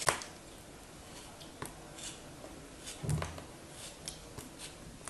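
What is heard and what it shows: A thin black knife blade slices and scrapes a solid, hand-sized molded block of red kinetic sand held in one hand with long white-tipped nails. A sharp, bright crunch opens the clip, followed by quieter soft, gritty scrapes and cuts over a low hiss. The fullest cut, near the middle, adds a brief dull low thud.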